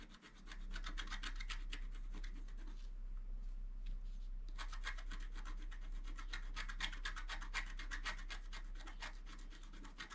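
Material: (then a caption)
Coated paper. A wooden stylus scratches a flat scratch art sheet, black coating on paper, in short repeated strokes while the sheet is held flat. It makes bright, dry rasping scrapes at a quick, uneven pace, with a brief quieter stretch partway through, over a steady low hum.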